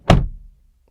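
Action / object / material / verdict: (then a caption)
strike / car door, steel / steel / solid. A 2022 BMW X3M Competition door is slammed shut from the inside, giving a single deep, solid thud that fades within about half a second. The door sound is judged solid.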